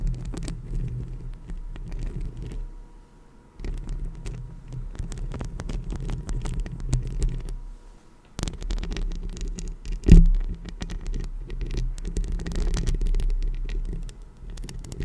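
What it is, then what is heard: Metal microphone grille being scratched. Long acrylic nails scratch and tap the hollow metal mesh grille of a rhinestone-decorated Blue Yeti microphone, with the hands drifting slightly away from the mic at the end. The sound is a dense, muffled, low rumbling scrape, almost entirely bass, with brief quieter gaps around 3 and 8.5 seconds. A louder single thump lands near 10 seconds.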